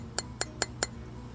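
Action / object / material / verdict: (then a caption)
tap / fired clay piece / ceramic / fired. A completed clay piece, fired at high temperature in a kiln, is tapped four times at an even pace. Each tap gives a short, bright, glass-like clink with a high ring that dies away almost at once, over a faint low background hum.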